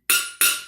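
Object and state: Metal kitchen container, hard metal.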